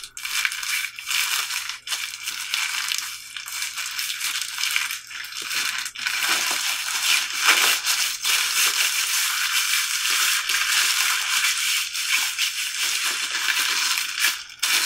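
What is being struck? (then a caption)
Thin plastic film gloves. Two hands wearing thin, pink-printed, peach-flavored plastic hand mask gloves rub and squeeze against each other. This produces a dense, continuous crinkling of the plastic film, bright and hissy with most energy in the high range and almost nothing in the lows. Short louder crackling bursts stand out from the steady rustle throughout.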